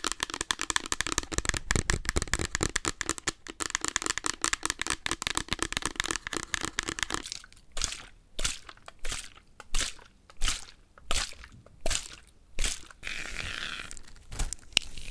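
Long acrylic nails handle, tap and flex a thin, flat paper or card cut-out drawing of a blue foaming gel pump bottle, which is not hollow. For about seven seconds there is dense, rapid, crisp tapping and crinkling. Then it slows into separate swelling rustles and crackles, with a brief bright papery hiss near the end.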